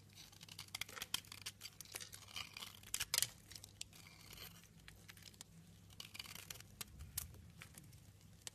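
A utility knife scrapes chunks and shavings off a light green soap bar, making a run of dense, bright, crisp scraping and crackling strokes with short sharp peaks over a faint low hum.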